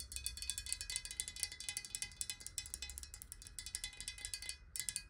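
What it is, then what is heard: Glass water bottle tapped with nails. Long nails tap fast on the sides of a clear, square-sided glass water bottle that is hollow and partly filled with water and held tilted. The result is a rapid, uneven stream of bright, clicky glass taps, each dying away almost at once, with a short pause near the end before the tapping resumes.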